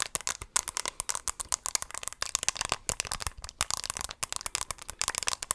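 A small, hollow, pink-and-white hard plastic compact shaped like a bunny character's head is held in both hands and tapped with long pink acrylic nails. About 33 quick, crisp clicks follow in an uneven, rattling run, bright and thin with almost no low end. Each tap dies away almost instantly.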